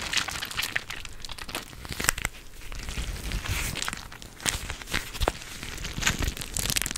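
A teal-rimmed clear plastic gel-bead cooling pad is squeezed and scratched with long nails close to the microphone. The result is a steady run of dry, bright crinkling and crackling with sharp scratchy bursts and soft low thumps of handling underneath.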